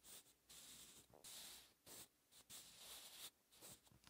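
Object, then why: Pencil on a paper notebook page. A sharpened wooden pencil's graphite tip writes Korean cursive on a lined paper notebook page lying flat and solid on a surface. Quiet, bright, hissy scratching comes in uneven bursts of strokes with short pauses between them, and there is almost no low end.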